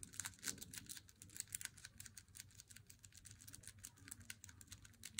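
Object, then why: Cardboard chocolate box. An unopened Lindt Swiss Classic flat cardboard chocolate box is held and then laid on a wooden table while long nails tap and scratch its edge and front. A rapid, steady run of short, dry clicks with bright, high scratchy texture sounds over a faint low rumble, each tap dying away almost at once.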